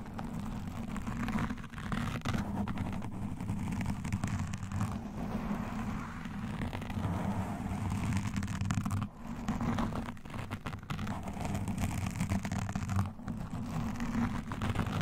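A black foam windscreen on a standing microphone is scratched with metal claw nail rings and long nails, the hands alternating as they move around the foam. A dense, continuous low rustling and scratching fills the clip, heavy in the bass with little brightness, dipping briefly in a few places.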